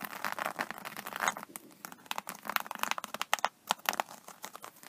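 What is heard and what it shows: Long nails on both hands scratch and tap the scaly surface of an iridescent, embossed faux-snakeskin vinyl iPad case. Dry, crinkly scratching comes in bursts, broken by sharp, bright clicks that stop instantly with no ring.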